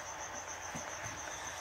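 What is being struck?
Nothing is struck.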